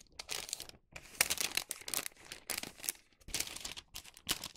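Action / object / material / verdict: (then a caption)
scrape / thin wax paper sheet / wax paper / none. A thin printed Halloween wax paper sheet resting on a cutting mat is folded and creased with fingertips. Bright crinkling and rubbing come in irregular bursts, with short quiet gaps between them.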